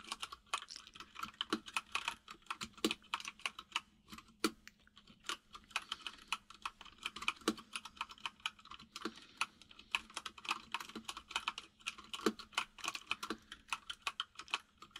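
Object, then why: Plastic mechanical keyboard. Fingertips of both hands type fast on a full-size mechanical keyboard with white and grey plastic keycaps and a hollow case sitting on a desk. A dense, steady stream of short, bright plastic clacks with almost no ring, over a faint low hum.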